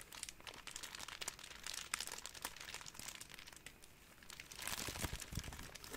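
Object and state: Crumpled plastic cling wrap.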